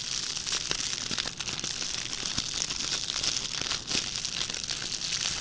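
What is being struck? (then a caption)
Metallic plastic ribbon gift bow. A small red metallic plastic ribbon gift bow is pressed on a table by hand, then picked up and crinkled with fingertips. The result is a steady, dense crinkling and crackling that is bright and hissy, with almost no low end and short, sharp snaps scattered throughout.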